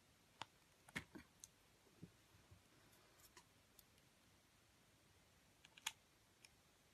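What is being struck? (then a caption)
Bar soap cut with a metal blade. A metal utility blade slices thin slabs off a pale yellow ring of bar soap. Quiet, sparse, crisp clicks and short bright snaps come at irregular intervals over a faint low hiss, each dying away almost instantly.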